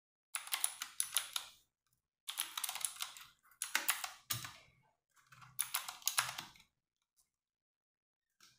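Fingertips with long nails type on a compact 60% RGB-backlit mechanical keyboard with plastic keycaps. Quick runs of bright, clicky keystrokes come in several short bursts separated by pauses, ending with a faint click after a long silence.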